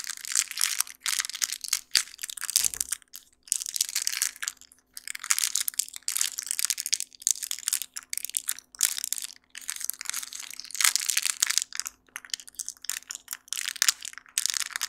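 A small pack of colorful sticky index flags in a clear plastic blister with a cardboard header card is held in both hands while fingertips squeeze and handle the crinkly plastic packaging. Bursts of bright, dense crinkling and crunching come and go with short pauses between them, over a faint steady low hum.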